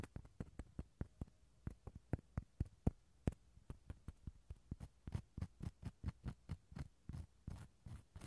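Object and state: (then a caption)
Dried gourd shell half scraped inside. The inside of a small, empty, hollow dried gourd half is scraped with a wooden toothpick, making about thirty short, dry scratching strokes with a low, hollow body and no ring. The strokes come irregularly at first, then settle into a steadier, quicker rhythm in the second half.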